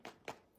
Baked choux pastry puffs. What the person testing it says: malgré le temps un petit peu très humide ici et ben ils sont restés bien bien croustillants